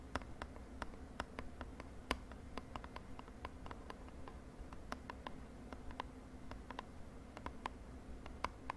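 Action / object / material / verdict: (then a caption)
tap / small printed cardboard box / cardboard / none. A small purple printed cardboard cosmetic box is held in the hand and tapped quickly with long nails. About thirty short, dry, clicky taps with bright tops land in an irregular, fast pattern, each dying away almost instantly. A steady low hum sits underneath.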